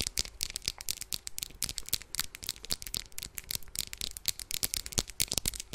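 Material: Plastic.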